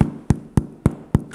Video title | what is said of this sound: HOW TO MAKE PIZZA FLAVORED SOURDOUGH BREAD⎮With Pro Home Cooks | you want to hear that hollow sound